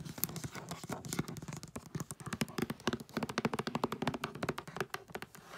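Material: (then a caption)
Foil paper. Long nails tap and scratch across the surface and edges of a flat rectangular gift box wrapped in holographic tree-print foil paper. A quick run of short, dry clicks with crinkly scraping between them fills the clip, each tap dying away almost at once.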